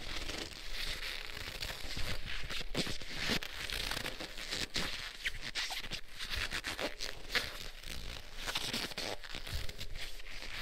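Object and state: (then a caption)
Leather gloves rubbed together. Black leather gloves are worn on both hands, with the gloved fingers interlocked and rubbed firmly together. The result is a continuous leather-on-leather squeak and friction, full of crinkly, crackling rubbing with bright upper content over a low rumble.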